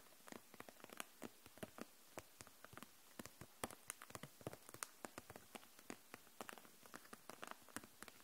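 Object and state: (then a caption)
Plastic marker case. Long nails tap along the caps of the dual-tip markers and the sides of a clear plastic case full of them, held upright. About forty short, dry clicks come in an uneven, pattering run, each dying away almost at once over a quiet background.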